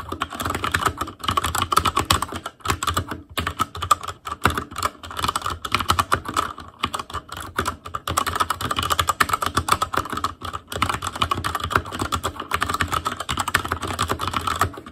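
Fingertips of both hands type rapidly on a full-size ASUS ROG Claymore Core keyboard with plastic keycaps on Cherry MX Red switches, a metal plate, a hollow case and RGB backlight. A dense, continuous stream of short, clacky key taps, each dying away almost instantly, is centered around 1.2 kHz with a low thock underneath. Brief pauses break up the flow.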